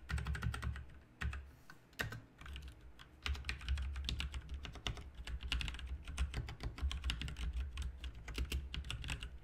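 Two hands type rapidly with their fingertips on a full-size RGB mechanical keyboard with plastic keycaps. Quick, bright, clacky key presses come in dense bursts, with a brief lull near the three-second mark, over a steady low hum.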